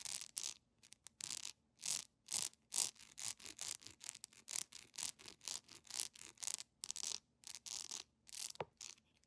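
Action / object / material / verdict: scrape / beeswax candle / beeswax / none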